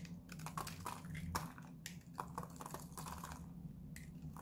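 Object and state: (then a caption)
Dry bar soap being cut. A metal knife blade repeatedly cuts and scrapes a solid pink bar of dry Lux soap. It makes a rapid run of crisp, crunchy scraping clicks and short bright bursts over a steady low hum.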